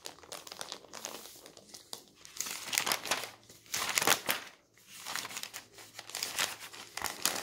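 A paper newspaper lies on a table while a hand flips its thin newsprint pages and smooths them with the fingertips. Dense, bright crinkling and rustling rises in bursts, with louder crisp swells around the middle. Softer brushing strokes fill the gaps between them.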